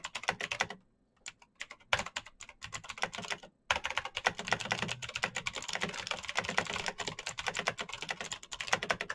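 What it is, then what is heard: Plastic mechanical keyboard. Fingertips type fast on a black Razer BlackWidow mechanical keyboard with plastic keycaps on clicky green switches. A dense stream of sharp, bright clicks and clacks is broken by two brief pauses near the start. The typing then continues steadily to the end.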